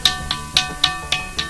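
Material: Stone.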